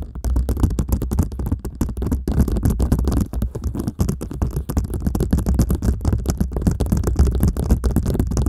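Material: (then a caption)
Plastic. Long manicured nails from two people rapidly scratch and tap a clear plastic sheet covered in small colorful dot stickers, wrapped around the head of a large hollow microphone with a metal grille underneath. The result is a dense, irregular stream of close, muffled crackles and soft thuds with a heavy low rumble, and almost nothing bright on top.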